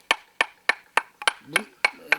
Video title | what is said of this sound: 좋은 돌을 찾기 위해 전국 팔도 강산을 누비는 55년 경력 벼루 장인을 소개합니다~! [ 별별사람들 ] 20250101 | 밝은 소리가 나고 둔탁한 소리가 안 나는 그런 돌이 좋은 건데 둔탁한 소리 나는 거는 어디엔가 결함이 있는 거죠